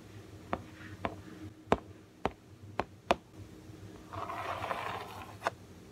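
Fingertips tap and scratch across the yellow printed cardboard on the back of a large Super Wings toy package, the flat panel of a hollow box. Sharp, dry taps with a hollow midrange knock come at uneven intervals, then a soft, rustling scratch swells and fades before one last tap.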